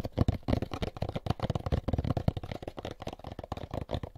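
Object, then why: Molded paper pulp egg carton. An empty molded paper pulp egg carton is held end-on in both hands while fingertips tap and scratch its sides. The result is a dense run of soft, dull, low taps and brushing scratches with very little high sound. Each tap dies away almost at once.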